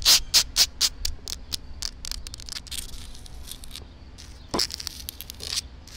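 Long black acrylic nails and fingertips scratch and tap the rough surface of a flat, solid outdoor concrete pavement with a crack, right next to the microphone. Dry, bright scraping clicks come in a quick, uneven series, loudest at the start, with softer scratching in between and a low steady rumble underneath.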